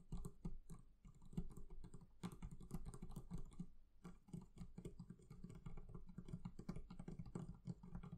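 Fingertips tap rapidly and steadily on the leather covering of a barrel chest for about eight seconds. The taps are soft, dull, and low-pitched, with almost no ring after each one.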